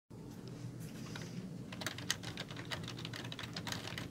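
Fingertips with long nails type continuously on a black, full-size plastic membrane computer keyboard with hollow keys. The rapid, crisp, bright taps decay almost instantly and ride over a steady low rumble, with a few sharper clacks standing out.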